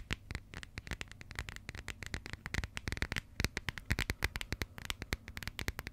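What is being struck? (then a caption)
Passport with coated cardboard cover. Long nails tap and scratch the textured, coated cardboard cover of a small, closed burgundy passport. Dozens of quick, dry clicks come in uneven bursts, each a sharp tick with a bright, crisp edge and a soft low thump beneath. Faint scratchy rustling runs between the taps, and every tap dies away almost instantly.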